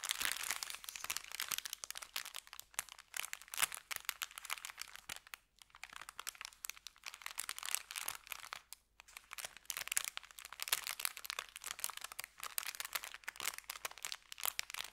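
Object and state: Paper bag crinkling.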